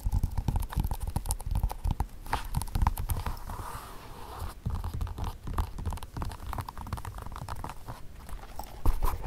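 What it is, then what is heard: Leather flat shoe. Fingertips and short nails tap and scratch the sides, heel and rim of a single dark leather ballet-flat shoe, hollow and empty, resting on carpet. Rapid, dull, low thumps come in dense bursts, mixed with soft dry scratching and brushing. The taps are short and deadened, with no ring.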